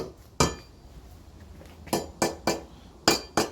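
Six sharp taps on a concrete shop floor slab after foam was injected to fill the voids beneath it. Each tap gives a short, bright knock with little ring. The slab sounds solid rather than hollow, showing it is now fully supported underneath.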